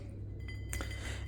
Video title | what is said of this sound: A tour to my home studio | it just sounds like glass